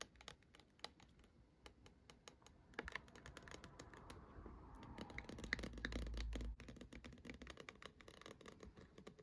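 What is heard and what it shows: Long acrylic nails tap and scratch a small hollow dark plastic dome star projector night light, lit purple. Quick, irregular, dry clicking taps run throughout, with a rougher scratching rasp that builds mid-clip into a louder, steady stretch before it cuts off sharply and the light taps resume.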